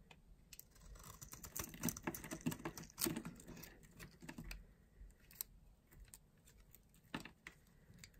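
A small blade scrapes a solid oval bar of dry soap with a purple outer layer and a green core, held in the palm. It makes quick, dry, crunchy scratches and crackles that are densest and loudest in the first half, then thin out into scattered clicks.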